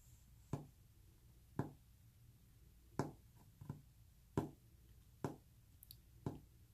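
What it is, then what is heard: Wooden surface. Fingernails tap on a wooden surface in eight sharp, short clicks spaced unevenly over a few seconds, each with a quick low knock and brief decay. A soft, steady low purring hum runs underneath throughout.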